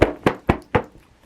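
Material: Woven fabric.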